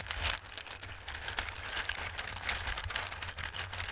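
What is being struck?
Raw dried pasta shapes in a bowl.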